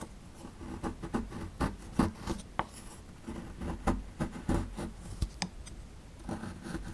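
A metal chisel tool scrapes the lower edge of a small, solid plaster fossil dig block, knocking loose crumbling plaster powder. About twelve short, dry, gritty scrapes and taps stand out over a low, soft rustle. Each one dies away almost instantly.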